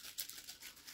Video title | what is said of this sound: Daisy P51 slingshot kit | if i shake it listen to this you could hear like there's more of them